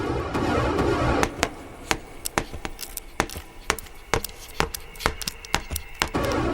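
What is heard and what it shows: An aye-aye taps on tree wood with its long, bony middle finger, producing a quick, irregular series of sharp, dry taps that ring briefly. The taps give the characteristic hollow echo of a cavity hiding a grub. Music plays underneath, louder at the start and end.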